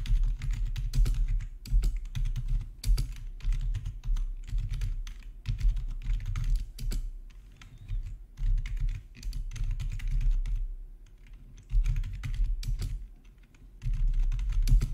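Fingertips type on a full-size black plastic RGB backlit gaming keyboard with a hollow housing, resting on a marble surface. Rapid, dense key taps come in bursts with a deep, low thump under each short, bright click. The typing eases briefly to quieter stretches before picking up again.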